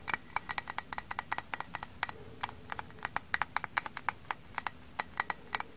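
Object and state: Frozen sponge, stiff.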